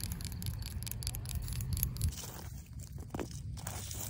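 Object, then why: Asphalt pavement surface. Long pink acrylic nails scratch across a cracked but solid asphalt pavement, making a rapid, gritty rasping over a steady low rumble. After about two seconds the scraping thins out and grows quieter, with a brief brighter stroke near the three-second mark.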